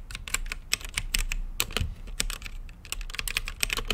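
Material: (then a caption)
Plastic. Fingertips type on a mechanical keyboard with plastic keycaps and a translucent lit case, producing a rapid, uneven run of short, bright clicks. Each keystroke has a sharp plastic snap centred around 2.5 kHz that dies away almost instantly. A faint low rumble sits steadily underneath.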